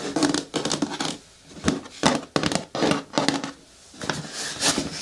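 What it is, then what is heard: Hollow hard plastic lidded bin. Long natural nails tap the side, then the flat lid, of a hollow green hard plastic lidded bucket turned on its side. The taps come in quick, irregular clusters of bright, short clicks with a hollow plastic tone, separated by brief quiet gaps.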